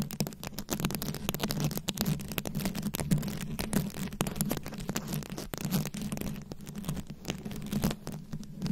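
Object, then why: Microphone head covered in small plastic rhinestones, scratched with long nails. Very long acrylic nails scratch and tap a fist-sized microphone head fully covered in small round rhinestones, likely plastic, held close. The result is a dense, continuous stream of quick clicks and scratchy rasps over a steady low hum.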